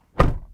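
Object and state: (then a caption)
Solid-sounding car door close. A 2023 Toyota Crown's door is closed from the inside, giving a single low, solid thunk that dies away quickly. The closing sound is judged solid.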